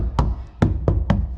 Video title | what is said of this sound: Floors Finished - 1974 Squarebody Chevy Ramp Truck | Floor sounds solid. You can hear almost nothing in them.